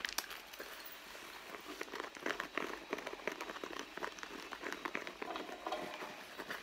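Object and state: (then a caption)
Leather handbag. A medium red pebbled-leather handbag with zipper pockets lies on a mat while long blue-painted nails and fingertips scratch and tap the leather front near the zipper pocket. Many quick, dry scratches and soft taps come through as a steady crinkly rustle with bright, crackly edges and almost no low end. Bracelets with charms and beads on the wrists may add a faint jingle.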